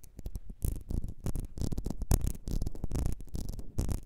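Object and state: Glass perfume bottle.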